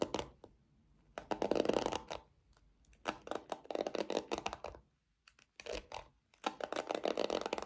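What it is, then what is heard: Plastic paddle hairbrush. Long nails scratch across the black pins and the handle of a small pink plastic paddle hairbrush. The result is bursts of dry, raspy, mid-pitched scratching with no ring, grouped into several rapid clusters separated by brief silences.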